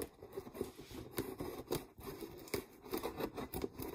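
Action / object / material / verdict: scrape / clear plastic jar / plastic / none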